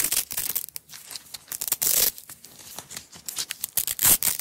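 A small yellow nylon hook-and-loop (Velcro) strap roll rests on a table and is unrolled and peeled apart by long-nailed fingertips. Bright, crackling rips come in short bursts and a few longer tears, with quiet gaps of soft handling between them.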